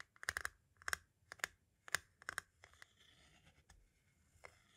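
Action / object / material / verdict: tap / plastic audio cassette shell / hard plastic / none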